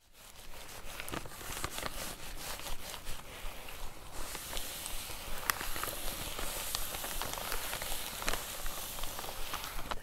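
Long painted fake nails and fingertips press, scratch and tap along a flat, roughly hand-sized white plastic poly mailer with something soft inside, held in both hands over a fabric tablecloth. The sound is a steady, quiet plastic crinkling and scratching texture broken by sharp, bright nail taps and clicks throughout.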